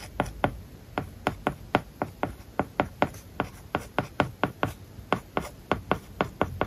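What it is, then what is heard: Stylus writing on a tablet with matte paper-like screen film. A plastic stylus writes on an iPad lying flat with a matte plastic paper-like film over its glass screen, tapping and scratching across the surface. About 25 short, dry taps stand apart, with soft scratchy strokes between them and almost no ring after each tap.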